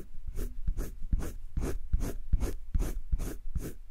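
A hand-held colored pencil rubs shading strokes over flat cream drawing paper in a wire-bound spiral sketchbook. Each back-and-forth stroke gives a soft, low scratchy rub topped by a brief bright hiss, repeating in a steady, even rhythm.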